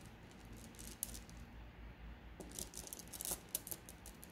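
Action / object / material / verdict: scrape / glass gems in a plastic mesh bag / glass / none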